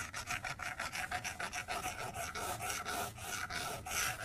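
A plastic stylus tip scribbles coloring strokes across the flat glass screen of an iPad tablet. It makes about fourteen quick, raspy scratching strokes with a bright, hissy texture and a faint tonal edge near 750 Hz. Each stroke stops short with no ring.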